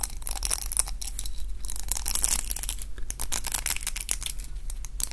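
A pink round roller hair brush with plastic bristles and a wooden handle is twisted and rubbed in both hands with the fingertips. The result is a continuous run of bright, crackly scratching and flicking of the bristles over a low steady hum.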